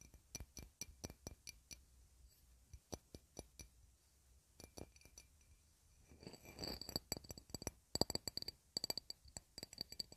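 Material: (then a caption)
Glass. A small, round, shallow, clear glass dish, empty and held in the hand, is tapped and scratched with long red nails. Quick, bright clicks come first, then a stretch of fuller scratching and more rapid clinks with a high glassy ring.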